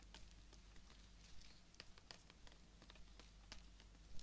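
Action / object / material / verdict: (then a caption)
scrape / fresh rose stem / plant stem / none. Fingertips and nails scratch and tap along the length of a long, thin, solid green stem of a live fresh rose held horizontally. Quiet, short, bright clicks and scratchy ticks land irregularly over a steady low hum. Each tap dies away almost at once.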